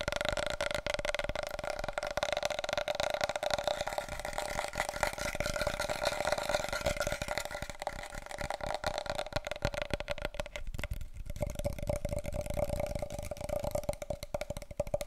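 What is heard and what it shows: Long nails rapidly tap and scratch a wide, hollow, empty cardboard paper roll tube held upright. The result is a dense, continuous stream of dry clicks and scrapes over a steady hollow resonance around 600 Hz, with a quieter dip near the 11-second mark.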